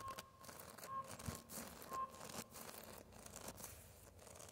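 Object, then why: Tree bark on a living trunk. Fingertips and short nails scratch and tap across the rough, cracked grey bark of a large, solid, living tree trunk with a knot. Quiet, dry rasping scrapes mix with soft, short taps that die away almost immediately.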